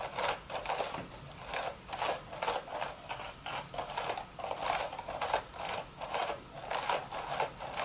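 Long, sharp red nails scratch and tap the top of a hollow, empty woven straw hat crown. Repeated short, dry, rustling scrapes pulse in quick bursts, centered in the midrange with a bright, papery hiss. Each stroke fades almost instantly with no ring.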